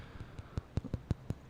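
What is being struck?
Smartwatch case.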